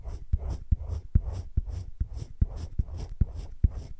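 A hand rubs a teal colored pencil in small strokes around a drawn droplet on thick cream drawing paper in a spiral-bound drawing book lying flat. Soft, scratchy rubbing is punctuated by 9 short, dull low thumps at a brisk, slightly uneven pace, each dying away almost instantly.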